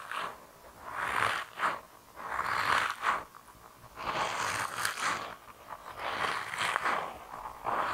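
A hand-sized grey soft rubber mouse toy with whiskers and a tail, solid and flexible, is rubbed and squeezed with fingertips. Six rasping, squeaky rubber-friction swells rise and fade in an uneven rhythm, centered in the midrange with a bright hiss on top, with quiet gaps between.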